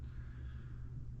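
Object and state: Nothing is struck.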